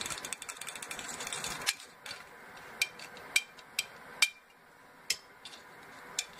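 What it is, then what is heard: Full aluminum soda cans tapped with fingernails. Fingernails scratch and tap the tops and pull tabs of full aluminum Coca-Cola cans sitting in an open cardboard box. A dense, bright scratching rustle gives way after about two seconds to several sharp, separate metallic taps with a short ping near 2.4 kHz that dies away almost at once.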